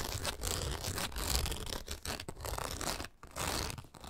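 Long nails scratch and rake rapidly across the taut nylon mesh window panel of a pet travel backpack. The result is a dense, continuous raspy scratching with a strong low rumble and bright, hissy texture, broken only by a couple of brief pauses near the end.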